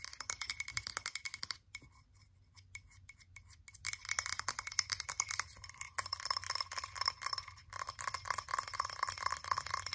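Long acrylic nails rapidly tap and scratch the sides of a blue frosted glass candle jar with a printed label. Dense, bright clicking and clinking taps ring with a high, glassy tone, thin out into a sparse, quieter stretch for a couple of seconds, then return fast and steady to the end.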